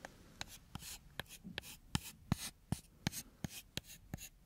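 A thin, solid, brownish wooden stick is held horizontally in one hand while the fingernails of the other hand scratch along its length. Thirteen sharp, dry ticks with almost no ring alternate with short, bright, raspy scraping strokes at a quick, uneven pace. The overall level is quiet.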